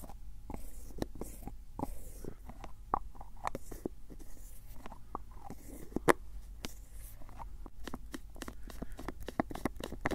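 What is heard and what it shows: Fingertips grip, twist and tap the screw lid of a medium-size, hollow white and grey plastic cylindrical jar held close to the microphone. A quiet run of short, dry clicks, taps and scrapes follows, each dying away almost instantly over a low, steady background rumble.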